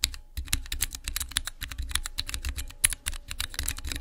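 Fingertips press and type on the transparent keycaps of a small clear acrylic Cherry MX mechanical keyboard switch tester. A rapid run of crisp, bright clicks and clacks, each with a soft low thock underneath, comes in quick uneven bursts. Every keystroke stops short with almost no ring.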